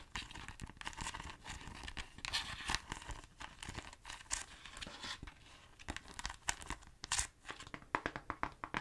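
Long nails tap and scratch the front cover of a hollow, hard plastic DVD-style Grand Theft Auto III PlayStation 2 game case held in hand. The result is a dense run of sharp, clicky taps mixed with bright, scratchy rasps that start and stop throughout.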